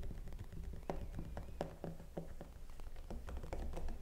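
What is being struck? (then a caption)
Hollow vinyl mannequin head. Long pink-painted nails and fingertips tap quickly and repeatedly on the face, cheeks and temples, of a life-size hollow vinyl/plastic cosmetology mannequin head wearing a long black synthetic wig and held in place. Soft, dull, short clicks and taps patter over a low steady hum, with a few brighter taps standing out.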